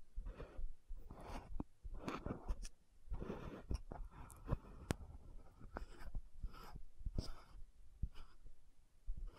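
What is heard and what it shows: Long nails tap and scratch the gold cap of an orange-red frosted plastic lotion bottle held in both hands. Soft scratching swishes alternate with sharp, bright clicks over a low, quiet rumble.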